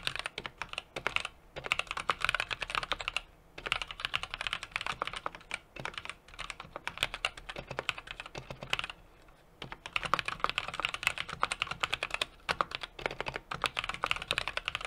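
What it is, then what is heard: Mechanical keyboard being typed on. A small 60% mechanical keyboard with an aluminum case, brass plate and plastic keycaps is typed on rapidly with the fingertips of both hands. Dense bursts of short, crisp clicks with a bright, clacky top end run through the clip, broken by brief pauses. Each tap dies away almost at once, with very little low-end thump.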